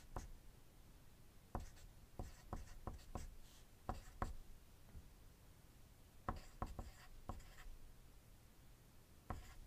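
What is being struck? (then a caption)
Graphite pencil on a paper sheet. A wooden graphite pencil writes on a thin white paper sheet resting on a desk, producing quiet, scratchy writing strokes throughout. About fifteen sharper taps and strokes stand out, each with a brief bright edge and a soft, low-heavy body, separated by faint continuous scratching.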